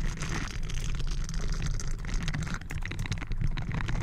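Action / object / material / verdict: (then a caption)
scrape / metal mesh microphone grille / metal mesh / none. Bristled blue silicone glove fingertips scratch and brush a round, hollow metal mesh microphone grille from both sides. The result is a steady, dense rumble heavy in the low end, with crackly scratching and rustling textures flickering on top throughout.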